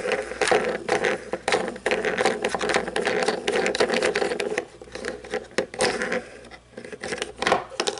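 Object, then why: Plastic toy truck with chrome-plastic chassis and rubbery tires. Long painted nails scratch and tap the wheels and underside of a small toy monster truck lying upside down, with a red painted body, chrome plastic chassis and black plastic tires. A dense stream of quick plastic clicks and scratchy rattling runs throughout, centred in the midrange with bright edges, and briefly quietens between taps.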